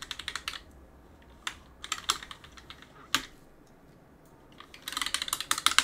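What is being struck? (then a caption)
Mechanical keyboard with plastic keycaps. A gloved hand rubs a cloth across the plastic keycaps of a backlit mechanical keyboard, pressing the keys as it goes. Quick bursts of sharp, bright clacks come in a rapid cluster at the start, then scattered presses with quiet gaps. A dense flurry of clacks closes the clip.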